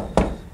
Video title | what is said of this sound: HP ENVY x2 Convertible Review | You certainly can hear that it's very solid.